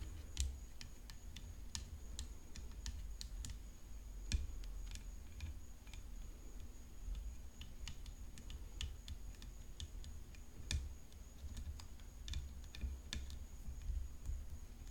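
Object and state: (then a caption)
Rhinestone-covered composite tennis racket frame. Long acrylic nails tap and click along the hollow composite frame of a full-size tennis racket covered in glued-on rhinestones, lying on black cloth, near the throat. Sharp, very short, bright clicks come in quick irregular runs over a steady low hum and a faint high whine.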